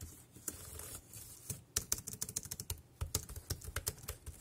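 Fingertips type on a dark grey plastic compact wireless keyboard with round keys. After a soft, hissy start, about eighteen short, sharp key clicks come in an uneven rhythm, each a bright tap with a low thump that dies away almost instantly.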